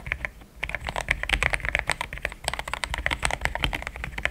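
Fingertips of both hands type steadily on a compact pink-and-cream plastic mechanical keyboard with thick XDA-profile keycaps, Gateron Yellow switches and a polycarbonate plate, sitting on a desk mat. A rapid, continuous stream of keystrokes is heard, each a crisp click centered near 2 kHz with a soft low thud underneath. Every stroke cuts off almost instantly with no ringing.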